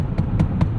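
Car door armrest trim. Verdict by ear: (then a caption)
Hard. Four knocks on the left-side door armrest of a 2024 Hyundai Ioniq 5 give short, dull low thuds with almost no ring. The armrest sounds hard rather than soft and poorly padded for elbow comfort, much like the firm center console.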